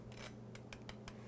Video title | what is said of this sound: How to Make Easy Deep Fried Ice Cream | that is how crispy that is